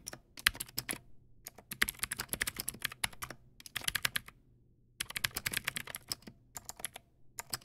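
Fingertips type on a Teamwolf Zhuque+ X08 backlit mechanical keyboard with white plastic keycaps and clicky blue switches. Bright, sharp clicks come in quick bursts separated by brief pauses, each click dying away almost instantly.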